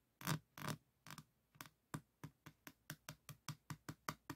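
Fingertips of both hands tap and scratch the beaded surface of a small framed diamond painting board covered in plastic resin rhinestone drills. Sixteen short, dry taps are heard, with a soft low thump and a bright, gritty clicking edge. The first few taps are slower and louder, and the rest settle into a quicker, steady patter with almost no ring.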